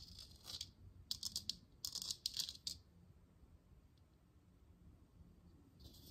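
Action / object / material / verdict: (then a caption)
tap / plastic lamp sphere / plastic / none. A hollow plastic moon lamp sphere, glowing blue and held in one hand, is tapped and scratched with long nails. Bright, crisp clicks and scratchy bursts cluster in the first three seconds, then fade to a quiet stretch before a short scratch returns at the end.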